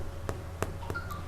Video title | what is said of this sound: EPISOD 234 KOREAN CREAM CHEESE GARLIC BREAD | So kalau you knock dia, dia bunyi macam bunyi kosong, tu dah masak lah rotinya.